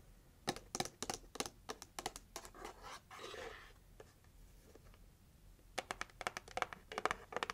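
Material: Cardboard.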